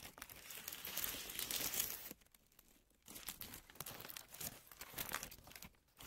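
A thin white paper tissue sheet, held flat in both hands, is crumpled and handled with long manicured nails and fingertips. It makes a dense, bright crinkling and crackling for about two seconds, then goes nearly silent for a second. Softer, intermittent crackles and rustles follow until the end.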